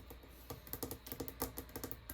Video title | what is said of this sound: [ASMR] Guest bathroom tour (tapping, tracing, camera touching) | This is just a plastic countertop, but it's interesting. It's really old. It's made to look like it's like granite or something.